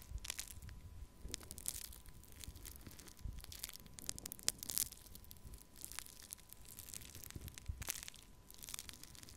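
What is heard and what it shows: Pink foam-bead pearl clay in a small plastic cup is crushed and scratched with the tip of a thin wooden stick. Dense, crunchy crackling and bright, high popping bursts are heard over soft low thumps, with a faint steady tone running underneath.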